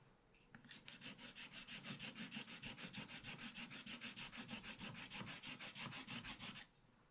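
A wooden stylus scratches the black wax-coated surface of a spiral-bound scratch-art paper pad, held flat by one hand, with rapid, steady, repeated strokes. Each stroke makes a bright, dry rasp with a soft low body, and the rhythmic scratching runs for about six seconds before stopping, leaving a quiet hiss.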